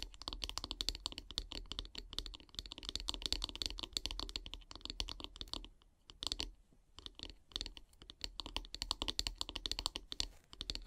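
Long grey nails tap rapidly along the solid wooden handle of a bristle brush, making a dense stream of short, bright, dry clicks with almost no ring. The tapping eases into a brief lull around the middle, then resumes at the same quick pace.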